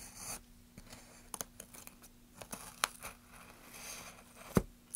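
A gloved hand scrapes and cuts into a solid pine softwood plank with rounded ridges, using a small carving blade. Quiet, dry scraping strokes alternate with sharp, bright clicks at an uneven pace over a faint steady low hum. The loudest cut snaps through near the end.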